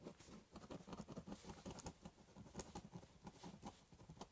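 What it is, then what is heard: Pen scribbling on cardboard. A ballpoint pen scribbles a border across the top of a large corrugated cardboard box with quick, scratchy strokes. The sound is a soft, rapid patter of short, dry scrapes with a hollow low-mid body and faint bright edges. The strokes stay quiet and steady, with no ring after each one.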